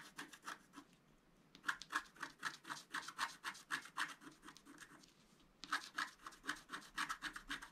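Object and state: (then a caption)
Scratch-art card being scratched. A wooden stylus scratches the black coating off a flat, thin scratch-art card held down by one hand, making continuous scratching strokes. Quick, rhythmic, dry rasping strokes come in three runs separated by two short pauses, with a bright scratchy tone centred around 1.4 kHz and almost no low end.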